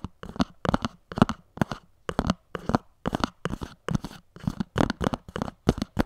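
Long nails scratch and tap along the top edge of a small, hollow white cardboard earphone box standing upright on a pink surface. Quick clusters of dry taps and scratchy crackles follow one another, each dying out almost at once with a hollow, low-weighted thump.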